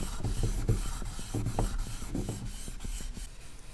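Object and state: Copper handbag being polished.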